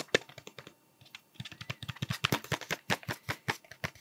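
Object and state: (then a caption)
Cardboard sweets tube. A hollow cardboard Smarties tube with a blue plastic cap, held near the mic, is tapped with fingertips and nails. About 25 quick, dry, hollow taps sound, with a brief pause early on before the tapping picks up again. Each tap stops almost instantly with no ring.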